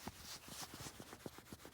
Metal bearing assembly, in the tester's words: you hear the bearings moving around in there so that's it's pretty much toast